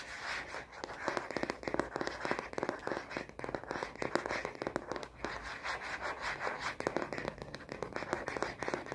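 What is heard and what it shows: Long nails rapidly scratch and tap the matte back of a plastic phone case on a smartphone, with the case's red side buttons showing. The fast, dense stream of dry clicks and scrapes runs steadily through the clip, with a mid-range body and short crackling peaks.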